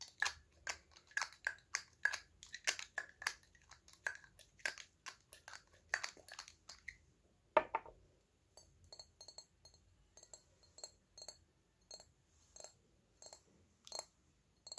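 Fingernails tap the glass body of a small, hollow purple glass perfume bottle with a red cap. The result is a slow, steady series of short, bright clicks with a faint glassy ring, plus one louder tap with a fuller thud around the middle. Afterward the taps continue more lightly and sparsely.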